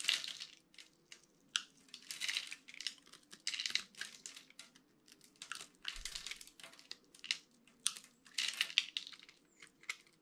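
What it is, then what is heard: Dry bar soap being scraped and crumbled. A utility-knife blade scrapes and crumbles grid-cut cubes off the face of a solid, dry orange bar of soap held in one hand. The result is a quiet run of bright, crisp crunching and crackling bursts, each dying out almost instantly, separated by brief pauses over a faint low hum.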